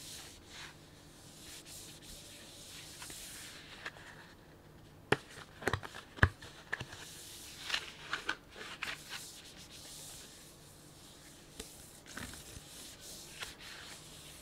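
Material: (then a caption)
Plastic. A full, medium-sized printed plastic snack bag of sunflower seeds is held close and rubbed and crinkled with the fingertips. Soft, steady rubbing hiss gives way to a cluster of sharp, bright crackles and crinkles in the middle, then settles back into quieter rubbing with occasional crisp pops.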